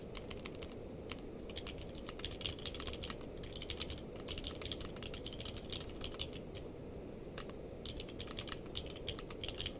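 Two hands type with the fingertips on a purple-case mechanical keyboard with plastic keycaps. They make a rapid, steady stream of sharp, bright clicks with a brief lull near the seven-second mark. A constant low rumble sits beneath the clicks.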